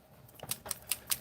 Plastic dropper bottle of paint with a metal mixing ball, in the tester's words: you hear that? You hear the mixing balls in there?